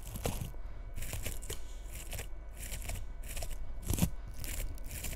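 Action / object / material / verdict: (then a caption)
scrape / bristle bottle-brush tree / plastic bristles / none. A long red fingernail scratches the bristles of a small frosted bottle-brush Christmas tree lying tilted, near its bead ornaments. Repeated bursts of bright, crisp scratching and crinkling come in quick strokes, with short pauses between them, over a steady low background hum.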